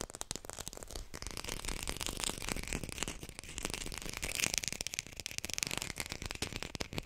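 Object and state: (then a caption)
Artificial textured lime. A textured artificial plastic lime is fast-tapped with a fingertip-style rapid patter, recorded with a hi-fi mic. The taps are short, dry and bright, with crisp clicky highs and almost no ring, running in a steady, busy stream throughout.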